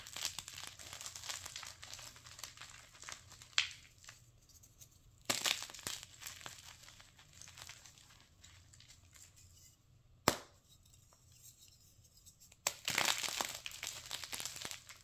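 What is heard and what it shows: One bare hand crushes and crumbles a handful of broken chunks and powder from a solid, dry, brittle block of plain white gym chalk (magnesium carbonate), while the other hand snaps a thin chalk slab. The result is a steady, quiet, bright crumbly crinkling with almost no low end, broken by sharp, short cracks as the slab snaps, followed by bursts of denser crunching.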